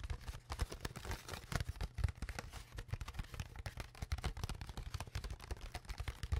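Long nails scratch and tap the crinkled walls of an empty, hollow, clear ridged plastic water bottle held close to the mic. The result is a rapid, irregular run of short, dry clicks and scrapes with a heavy low thump and a thin crinkly edge. Each sound dies away almost instantly.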